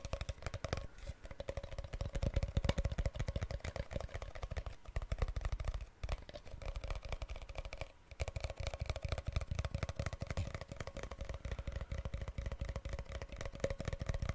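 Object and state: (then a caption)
Plastic drink powder tub. A white, hand-sized, hollow cylindrical plastic tub of isotonic sports drink powder, lid on, is held in the hands and tapped and handled with fingertips and nails. A rapid, continuous stream of short, dry clicks and taps with a hollow, low thump and a faint steady midrange tone barely dips at brief lulls around 6 and 8 seconds. Each tap dies away almost instantly.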